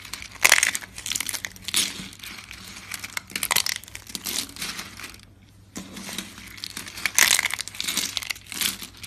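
Thin, dry tan soap flakes are broken and crumbled between fingers with red nails, giving bright, brittle crunching and crinkling. Sharp crackles come in dense bursts with a brief near-silent pause mid-clip, and the flakes snap apart with almost no ring.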